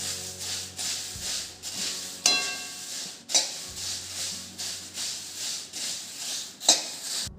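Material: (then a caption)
Flattened rice. Flattened rice (poha) is dry-roasted and stirred in a pan on low heat, giving a bright, dry rattling swish like a maraca that swells and fades in waves. Four sharper, ringing clinks stand out above the rattle. The poha is done roasting, and its crisp, ringing sound shows it is dry and crunchy.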